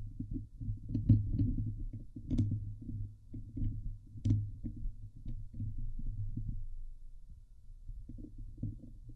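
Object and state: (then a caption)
Metal mesh microphone grille being scratched. A fingernail scratches across the top and sides of a Blue Yeti microphone head's hollow steel wire-mesh grille. It makes a dense, muffled, low rumbling rasp centred near 105 Hz, with brief thumps and a few faint bright ticks. The scratching goes on almost continuously, eases briefly near the end, then picks up again.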